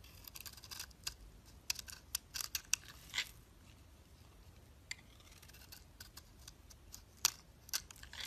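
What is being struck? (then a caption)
Cream bar soap shaved with a blade. A utility knife blade shaves curls from the surface of a solid cream bar soap held in the hand. The result is a quiet series of short, crisp, bright scraping strokes, some sharper and louder than others, with a faint low background hum between them.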